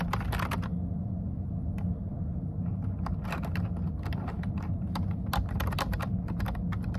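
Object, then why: Plastic computer keyboard. A plastic computer keyboard with dark keycaps is typed on with the fingertips, first with one hand and then with both hands. Quick, bright key taps come in irregular bursts over a steady low hum that carries most of the level.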